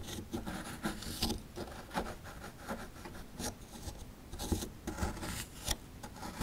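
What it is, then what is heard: Plaster fossil dig block being scraped. A chisel tool scrapes crumbly plaster inside a dug-out hollow of a small, solid plaster fossil dig block. The result is a steady run of gritty, rasping scrapes with brief, brighter bursts and soft low knocks as the tool bites in.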